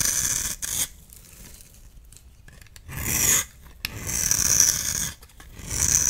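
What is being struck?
Bar of soap.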